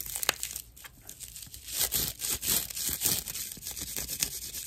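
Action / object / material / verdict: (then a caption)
scrape / dried natural loofah sponge slice / loofah fiber / none. A hand-sized slice of natural dried loofah fiber is scratched with long nails. The result is a dry, bright, crackling rasp in short bursts that swell and fade. Most of the energy is high, with little low end.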